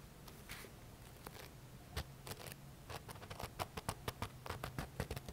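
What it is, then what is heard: Paperback book. Fingertips scratch and rub the page edges and back cover of a thick paperback book held sideways. Soft, dry scratching at a low level starts sparse with a few crisp ticks, then becomes a quicker, denser run of short bright scrapes in the second half, over a faint low rumble.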